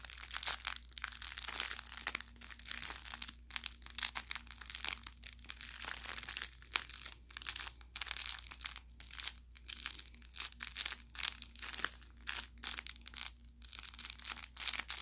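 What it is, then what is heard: Plush carrot toy with crinkle filling. An orange velour plush carrot cat toy with crinkle filling is squeezed and scratched with fingertips and nails for about 15 seconds. It makes dense, bright crinkling and crackling bursts with short, dry pops, over a faint steady low hum.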